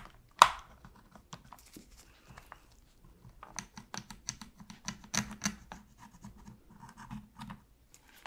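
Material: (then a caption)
Hard plastic. A metal pick scratches and picks in the gaps around the shoulder buttons of a black, hollow, hard-plastic PS3 controller held in a gloved hand, cleaning it. A sharp click opens the clip, then a run of short, dry, scratchy ticks and scrapes follows with brief bright edges and no ring.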